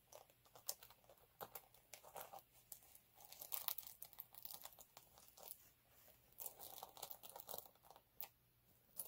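Fingernails scratch and fingertips rub the textured surface of a flat, multicolour chunky glitter sheet lying on a dark cloth. The result is a quiet, dense stream of crisp, bright crunching and crinkling scrapes with almost no low end. Each scrape is short and dry, and the sounds come in uneven clusters throughout.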